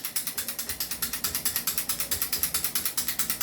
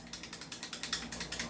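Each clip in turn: First: airsoft rifle with loose barrel, rattles. Second: loose airsoft rifle that rattles.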